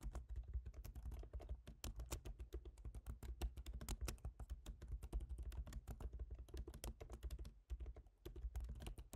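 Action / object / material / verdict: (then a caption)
tap / aluminium laptop keyboard with plastic keys / plastic / none. Fingertips type on the keyboard of a silver MacBook Pro, an aluminium laptop with plastic keys. The result is a fast, steady stream of short, dry clicking taps that end almost instantly. A constant low hum runs underneath, and there is a brief pause near the end.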